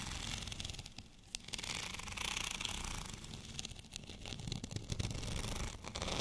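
Fingernails scratch across a white, bumpy, textured plastic rolling pin, producing a dense, continuous bright scraping texture over a low rumble. The scratching swells and dips in short bursts without clear pauses.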